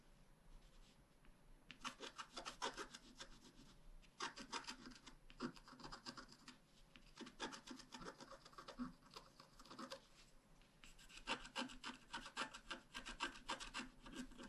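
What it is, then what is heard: Scratch art card being scratched. A wooden stylus scratches the bicycle area of a thin, flat black-coated scratch art card. Quick, bright, rasping strokes come in bursts separated by short pauses, with a dry, rubbing texture and almost no low end.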